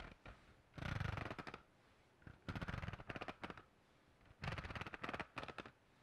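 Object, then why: Textured hard notebook cover. Fingertips and nails rapidly tap and scratch the textured cover of a hand-sized black hardcover notebook with a metal spiral binding, held upright in one hand. Three bursts of quick, dry tapping and scratching, each about a second long, are separated by short quiet gaps. Each burst pairs soft low thumps with a bright, papery scratch that stops with no ring.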